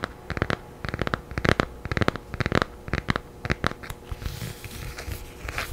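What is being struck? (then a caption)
Paperback book with glossy paper cover. A thin children's paperback book with a glossy blue and yellow cover and a solid paper block is held in both hands close to the mic and tapped and scratched with long nails. Quick, crisp taps come in uneven clusters for about four seconds, then give way to a softer, continuous scratching hiss across the cover.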